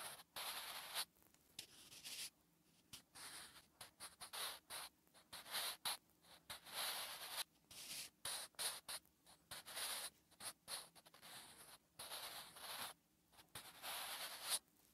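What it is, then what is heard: Pencil writing on a paper notebook page. A wooden graphite pencil writes Korean letters on a lined paper notebook page resting flat and solid. Quiet, bright scratching strokes come in short bursts separated by brief silences, with the strokes and pauses clearly audible.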